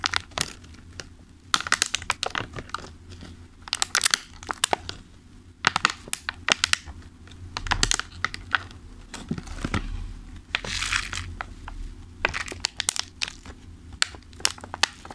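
Fingertips and nails tap and squeeze the lid of a thin, clear plastic clamshell food container full of pastries. Quick, bright clicks and crisp plastic crinkles come in irregular bursts, with longer crackling squeezes in between. A faint, steady low hum sits underneath.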